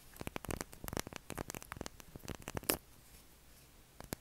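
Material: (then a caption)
Soap. Short fingernails scratch along the edge and face of a held, solid, palm-sized light-blue soap bar, shedding soap shavings. Quick, dry, crackly scrapes come in rapid clusters, with a sharper, brighter scrape near the middle. A brief near-quiet stretch follows before one last scratch.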